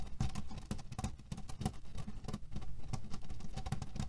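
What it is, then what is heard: Cherry-pit pillow. Fingernails scratch and tap quickly on the fabric of a cotton cushion filled with cherry pits. The result is a dense, irregular patter of dull, low thuds laced with bright, rustling scratch streaks as the pits shift under the cloth.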